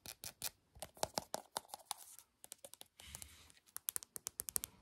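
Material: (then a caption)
Plastic. Long painted fingernails tap and scratch a small, light-green Glow Recipe soft plastic cosmetic squeeze tube, which looks filled with product and is held up close. A rapid series of sharp, bright clicks mixes with brief scratchy rasps, quiet and dry, with almost no low end. Each tap stops instantly with no ring.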